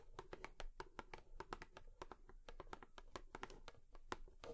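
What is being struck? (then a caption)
Cardboard tissue box. Long fingernails rapidly tap on a cardboard tissue box. The result is a steady run of quick, dry, hollow clicks, each with a faint tone and almost no ring.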